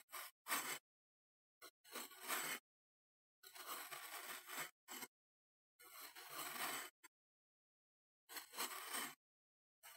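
A metal knife blade held in the fingers scrapes and shaves across a solid, moldable, flattened mound of green kinetic sand on a wooden chopping board. Repeated gritty, hissing strokes come in short and long bursts with quiet gaps between them, bright and airy with little low end.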